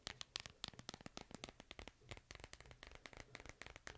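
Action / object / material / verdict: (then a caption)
tap / smartphone in plastic case / plastic / none. A smartphone in a white plastic case is held in one hand while fingernails tap and scratch the back of the case. About 25 rapid, dry, bright clicks come in an uneven stream, mixed with faint scratchy rustling. Each tap dies away almost at once.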